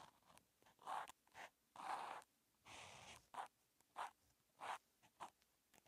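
A hand-held felt-tip marker writes characters on a flat paper grid notebook page. It makes a series of short, dry scratching strokes, some quick and some drawn out, with energy centered near 850 Hz and a faint bright hiss above. Brief quiet gaps fall between the strokes.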